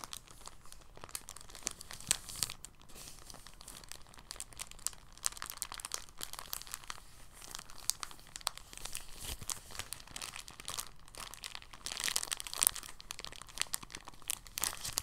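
A thin, clear, empty polyethylene bag is bunched and crinkled between fingertips. The result is a quiet, continuous run of bright, dense crackles and rustles with short sharp snaps, swelling into a busier, louder stretch near the end.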